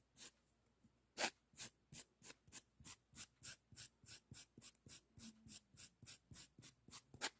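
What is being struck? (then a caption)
Emery board nail file. A thin, solid, flat pink emery board nail file with a heart pattern is handled and rubbed with the fingertips. Quiet, bright scratchy rasps come in a steady, evenly spaced run of short bursts, mostly high hiss with almost no low end. Each burst stops cleanly, with near silence between strokes.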